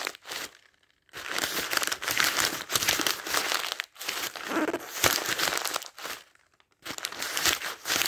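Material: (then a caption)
Paper. Fingertips riffle and turn the thin paper pages of a thick paperback dictionary lying open, giving a soft, bright crinkling page-flip sound. The rustling comes in dense, irregular bursts separated by brief near-silent pauses.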